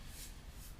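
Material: Nothing is struck.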